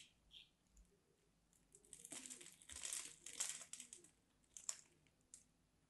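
A solid, dry mint-green and white striped bar of soap is held in the hand while its edge is cut and scraped with a small craft knife. Quiet, bright, crisp crunching and scratchy crumbling come in irregular bursts, with a few sharper clicks, as crumbly shavings break away.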